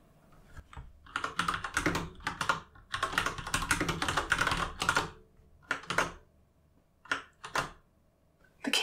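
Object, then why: Mechanical keyboard with plastic keycaps. Both hands type with their fingertips on a solid, full-size Asus ROG Strix Flare mechanical gaming keyboard with plastic keycaps and RGB backlighting, sitting on a desk. Rapid bursts of crisp, bright plastic key clacks come in runs, separated by brief pauses. Each tap is short and dry.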